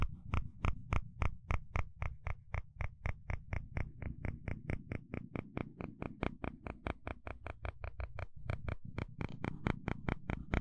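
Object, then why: Plastic fine-tooth comb. A flat wooden stick is scraped and flicked across the teeth of a small, solid blue plastic fine-tooth hair comb held in the hand. It makes a steady run of about 46 sharp, bright clicks, roughly four per second with slightly uneven spacing, over a low rumbling bed. Each click is crisp and dies away almost at once.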